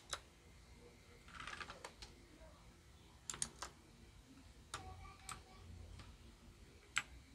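A small white plastic Royal Kludge RK61 RGB wireless mechanical keyboard, its lights mostly off, is typed on with fingertips and single keys are pressed, then one finger taps keys at the end. Sharp, bright plastic clicks and clacks come in scattered bursts over a quiet background, each key dying away almost instantly.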